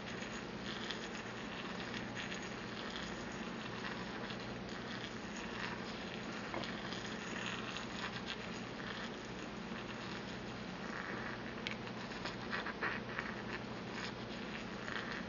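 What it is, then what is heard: Porcelain mortar and pestle being ground. A porcelain pestle is slowly ground and rubbed inside a small, empty white porcelain mortar held in the hand. It makes a steady, squeaky, gritty grinding with bright scratchy texture and a faint low hum underneath, holding at an even level throughout.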